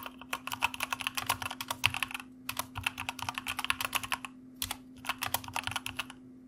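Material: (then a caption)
Plastic. Fingertips of both hands type rapidly on the plastic keycaps of a white mechanical computer keyboard. Dense bursts of sharp, bright key clicks come in three runs separated by short pauses. A low steady hum sits beneath them.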